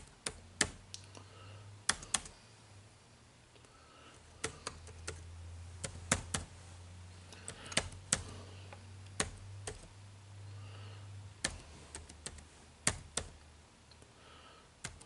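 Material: Plastic.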